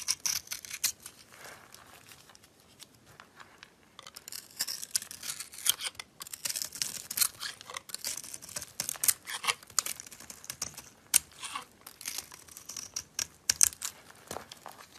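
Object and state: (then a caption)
Bar of soap being carved. A box-cutter blade carves and scrapes flakes off the bright green core of a solid oval bar of green soap with a glittery green coating, held in the hand. Crisp, bright scraping and crackling strokes come in quick irregular bursts, with almost no low end. The strokes turn sparse and soft for a couple of seconds near the start, then grow denser and louder through the rest of the clip.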